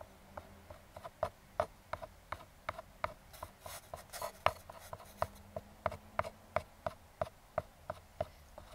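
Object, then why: Small closed kraft cardboard box. Metal claw fingertip picks tap and scratch the side of a small, closed brown kraft cardboard box. About 25 short, dry, quiet taps land at an irregular, fairly steady pace, each a hollow papery click centered near 640 Hz that dies away almost instantly. Around the middle, a brief bright scratching rasp runs between them.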